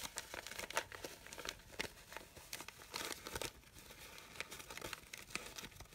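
Fingers and nails rustle and crinkle the petals of a red satin fabric rose, making a quiet stream of soft, bright crinkles and brief scratchy crackles. Denser bursts come around the one-second and three-to-three-and-a-half-second marks. The sound is thin and airy with almost no low end and no ring after each touch.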